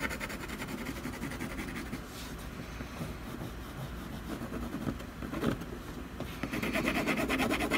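A colored pencil scratches across the lower right area of a solid canvas panel in quick, rhythmic strokes. The dry, gritty rasping holds steady, then grows louder and brighter toward the end.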